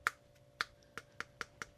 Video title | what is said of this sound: Copying Your Favorite Lure Part 2: The Perfect Clone | definitely can hear it's hollow